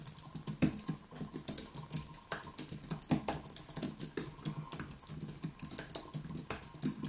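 Both hands type rapidly with their fingertips on a white, low-profile Apple Magic Keyboard with plastic keys on a solid, thin aluminium body, lying flat on a wooden desk. A steady stream of short, crisp keystroke clicks has a bright top and a soft low thump beneath. Each tap dies away almost instantly.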